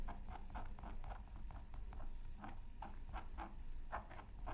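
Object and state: Scratch art paper being scratched.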